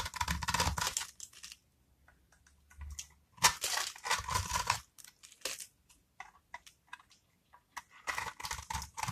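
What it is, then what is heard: Dry bar soap being cut. A metal craft-knife blade scores and scrapes a solid, rectangular blue-and-white striped bar of dry soap held in the palm, cutting its surface into small cubes that crumble off. Dry, crunchy scraping rasps come in bright bursts, separated by quiet pauses and short crisp ticks.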